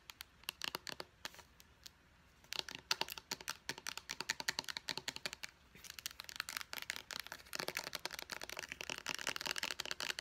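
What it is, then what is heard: Plastic pump bottle tapped with fingernails. Long painted nails tap rapidly along a small white plastic face wash pump bottle with a purple pump top, hollow and apparently filled, moving over the body and the pump. The taps are sharp, bright plastic clicks with almost no low end and no ring. They come in quick bursts after a brief lull near two seconds and grow denser toward the end.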